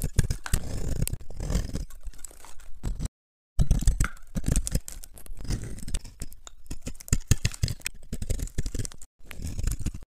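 A small, solid rectangular bar of very dry yellow-amber soap, held in one hand, is scraped and carved with a metal knife blade, producing crunchy shavings. Dense, dry crackling scrapes and crunches with bright edges and a heavy low-end rumble continue throughout. The sound breaks off briefly for two short silent gaps, near 3 seconds and near 9 seconds.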